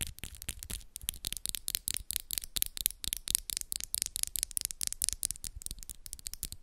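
Long coffin-shaped acrylic nails, pink and black with moon designs, small and solid, are tapped and scratched by the other hand's long nails in fast nail-on-nail contact. A quiet, steady stream of sharp, dry clicks mixes with bright scratchy rasps, each tap cutting off at once with no ring.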